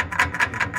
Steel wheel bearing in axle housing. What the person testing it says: Gave a very solid sound when it bottomed.